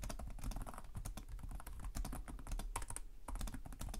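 Fingertips with short nails type continuously on the plastic chiclet keyboard of a black laptop resting on a desk. The rapid key taps form a dense, steady patter of short, soft clicks, each dying away almost at once, with most of the energy in a low thump under bright, clicky tops.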